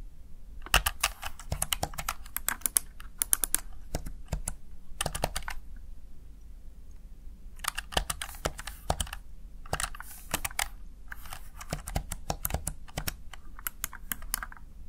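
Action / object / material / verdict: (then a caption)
tap / plastic keypad keys / plastic / none. Fingertips and nails press the keys of a small backlit plastic Razer Tartarus Chroma gaming keypad, seen from the front. Bursts of rapid, sharp, bright plastic clicks come in clusters, with a pause in the middle and a shorter break before the final flurry, over a steady low hum.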